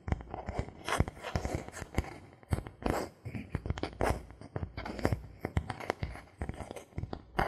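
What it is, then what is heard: Bamboo board. A thin, solid bamboo board held in the hands is tapped with fingertips and a knuckle in a rapid, irregular series. The taps are dry, short knocks with a low, hollow body, little ring, and occasional brighter clicks and crackly scraping between them.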